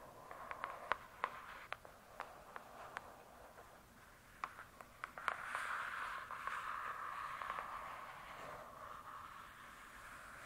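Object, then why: Hardcover book with glossy cardboard cover. Long acrylic nails on both hands scratch and tap the glossy, paper-covered cardboard cover of a thick, solid hardcover book lying flat. Crisp, irregular clicking taps ring over a steady, scratchy hiss centered near 1 kHz. The scratching swells louder after the middle of the clip and then eases off.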